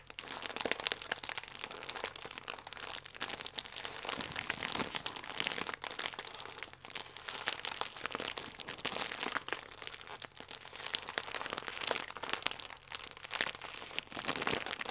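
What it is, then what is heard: Plastic film food wrapper crinkling. A full plastic film croissant pack is squeezed and crinkled with both hands. The result is a steady, dense stream of crisp, bright crackles and rustles with almost no low end, each crackle dying away almost instantly.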